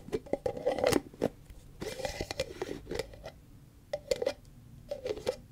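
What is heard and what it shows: Long fingernails tap and scratch on the body and green plastic screw lid of a large white plastic Cetaphil cream tub. Quick bursts of light, hollow plastic clicks alternate with short scratchy rasps, all at a soft, close level.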